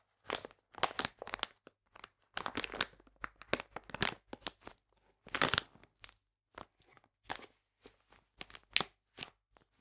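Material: Plastic.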